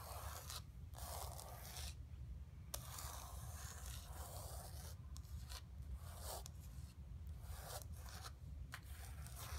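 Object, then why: Painted canvas board. Long nails scratch across the surface of a flat painted canvas panel resting on carpet. Dry, rasping scrapes come in repeated strokes with short gaps, bright and papery over a steady low rumble.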